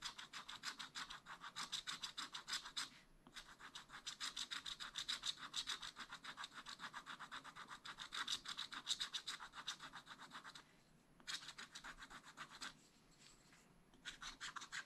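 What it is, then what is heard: Scratch-art paper being scratched. A wooden stylus makes small, rapid strokes across a black wax-coated scratch-art sheet in a spiral-bound pad. Dry, bright scratching comes in quick runs of about three strokes per second, with short pauses near 3, 11 and 13 seconds and softer scraping in between.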